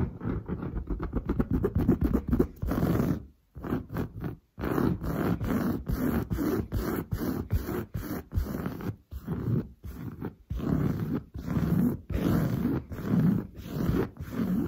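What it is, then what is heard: Woven fabric sofa upholstery. Long blue nails scratch fast and hard across padded, grey-brown textured woven sofa upholstery. The first few seconds are a rapid run of short strokes, followed by longer, separated bursts of dull, low-heavy rasping. A faint bright hiss rides on top of the scratching.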